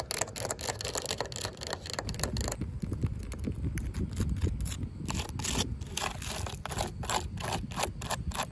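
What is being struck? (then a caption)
Corrugated plastic fence top cap. Long pink acrylic nails tap and scratch along the ribs of a corrugated yellow plastic safety cap, a hollow ribbed tube on top of a chain-link fence. Rapid dry clicks and raspy scrapes run throughout with short bright ticks, over a steady low rumble.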